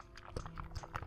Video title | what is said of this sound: Ferris Wheel Press ⭐ Terracotta Canyon⭐Valiant Blue⭐Pressman Grey | It's very thick. You can hear it sloshing.